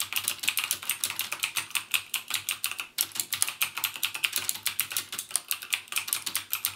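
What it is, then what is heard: Plastic mechanical keyboard being typed on. Fingertips type rapidly on a backlit mechanical gaming keyboard with plastic keycaps and Cherry MX Blue switches. A steady stream of sharp, bright clicks rattles out, each dying away almost instantly, with a brief pause near the three-second mark before the typing resumes.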